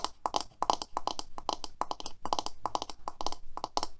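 Long manicured nails tap and scratch the back and black bristles of a hand-sized black plastic paddle hairbrush lying on a white table. The result is a quick, steady run of short, crisp clicks with a mid-pitched tone and bright, scratchy edges, each dying away almost at once.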